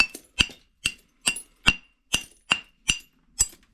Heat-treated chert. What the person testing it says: This is some pretty high quality stuff here, so listen to that ring it's got.